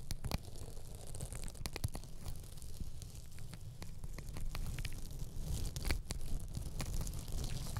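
Pink and green glittery elastic hair ties wrapped around a microphone head are scratched and squeezed with long acrylic nails. A steady, quiet crackling scratch with frequent sharp, bright ticks runs over a dense, low, muffled rumble throughout.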